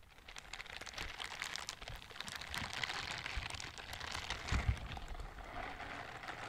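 Pink silicone scrubber gloves with bristle palms, worn on both hands, are rubbed and brushed against each other close to the microphone. The result is a soft, continuous, bright crackling rustle made of many tiny ticks, with a pair of slightly louder, duller bumps near the end.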